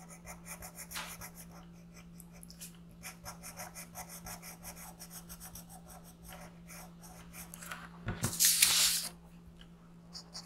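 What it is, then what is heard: Colored pencil on paper. A yellow colored pencil outlines a thin printed paper coloring sheet resting on a gray board, making soft, bright, scratchy rubbing strokes at roughly three per second over a steady low hum. Near the end, a louder, brighter burst of rubbing rises briefly before the quiet strokes resume.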